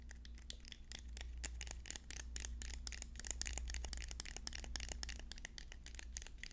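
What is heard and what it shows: Fast tapping on wooden pencils produces a dense stream of short, dry clicks with bright, crisp high-frequency ticks. The taps run at an uneven pace over a steady low hum underneath.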